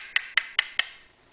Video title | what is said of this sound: Honda EU3000is Generator Extended Run Time Fuel Kit by Pinellas Power Products | tap it with a plastic screwdriver handle and it's solid